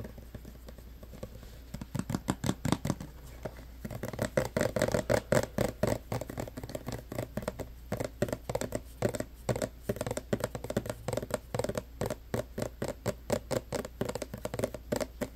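Fingertips and nails tap rapidly on the front of a clear plastic hand sanitizer bottle full of green gel, held in both hands. The taps are quick, dull, hollow plastic clicks with a mid-pitched tone around 580 Hz. They start softer and grow louder and denser after about four seconds, continuing in a steady patter.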